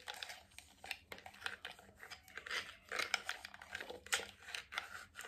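A medium, hollow white plastic cream jar with a lid and label is tapped and scratched on its lid and sides with fingertips, nails and rings. The result is a quiet, dense run of crisp, bright clicks and scratchy rustling with very little low end.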